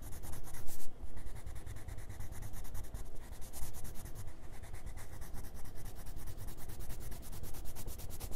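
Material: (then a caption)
Paper. A red colored pencil scratches and rubs in small, quick strokes over the colored apple area on a grey paper page of a spiral sketchbook resting on a wooden table. The strokes come in a dense, steady rhythm of short scratchy rasps with a low rumble underneath, loudest during the first second before settling into an even, continuous scribbling.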